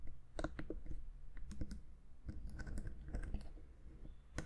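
A black plastic Zoom H6 handheld audio recorder, a hand-sized hollow electronic housing with knobs and metal mic capsules, is held in one hand and tapped with long manicured fingernails on its front panel and sides. The result is a quick, irregular run of dry, clicky taps, each with a short low, hollow thump and almost no ring.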